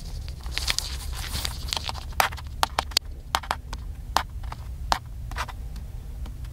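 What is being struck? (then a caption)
Plastic camcorder body. Fingertips tap and scratch the side and lens area of a small black handheld plastic camcorder. Sharp, bright clicks and short taps stand out over a soft scratchy rustle, with a steady low hum underneath throughout.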